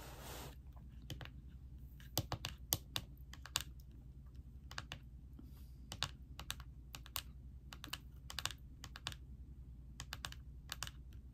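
Both hands type on a laptop keyboard with plastic keys set in a silver laptop body, striking with long nails and fingertips on ringed fingers. The result is a steady run of quick, dry, bright clicks in uneven clusters, over a constant low hum, with a short hiss at the very start.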